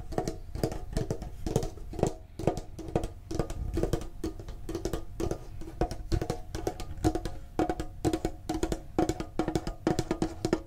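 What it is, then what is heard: Hollow metal card tin. A medium, printed, hollow metal Pokemon card tin is tapped on its sides with fingertips and nails. The taps come in quick, irregular bursts, each a short hollow metallic knock with a low thud and a ringing tone near 395 Hz that dies away almost at once.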